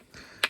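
A small stone strikes an ordinary granite boulder once, giving a short, sharp click with almost no ring. It is just a normal, dull sound, unlike the nearby bell rock.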